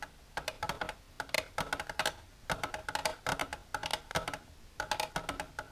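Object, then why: Clear plastic tray with divider. Long silver nails tap the inner walls of an empty, clear, shallow plastic tray with a divider, which lies flat. They make quick, irregular bursts of sharp, bright clicking taps. Each tap dies away almost instantly, with little low-end weight and quiet pauses between the clusters.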